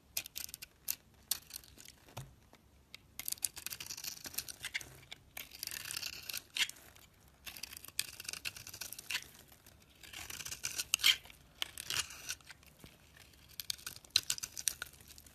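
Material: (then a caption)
Soap. A box-cutter blade scrapes and shaves a palm-sized, solid oval bar of teal-coated soap with an orange interior, held in the hands, peeling off curls and flakes. The sound is a quiet, bright, dry scratching and crisp shaving, coming in short bursts with brief pauses, almost entirely high-pitched with no low end.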